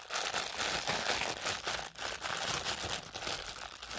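A thin, flexible clear and pink printed plastic packaging wrapper is crumpled and squeezed in both hands, with fingers and pink nails working the material. It makes a steady, dense, bright crinkling and crackling that runs almost without pause, dipping briefly near the middle before continuing.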